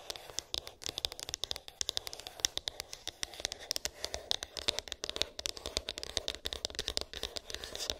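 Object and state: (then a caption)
Cardboard phone box tapped and scratched. Long pink acrylic nails tap and scratch a small, hollow white cardboard iPhone box with an embossed, textured lid, its contents unknown. Dozens of quick, dry, bright clicks and light scratchy scrapes come in a rapid, uneven stream, each dying away almost instantly with no ring.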